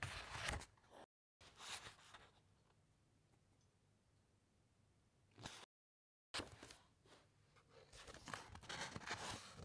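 Fingertips slide and brush over the thick matte pages of an open encyclopaedia, then turn a page, making dry, papery rustles and crisp, bright crackles. Bursts of rustling come at the start and end, with a long, near-silent stretch in the middle and two brief dead-silent gaps.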